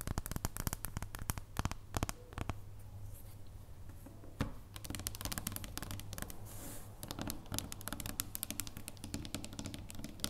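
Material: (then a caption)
Chocolate. Quick, dry taps and light scratches on a chocolate bar, fingers clicking over it in a rapid, uneven patter, with a low steady hum underneath. A brief quieter stretch falls in the middle before the tapping picks up again.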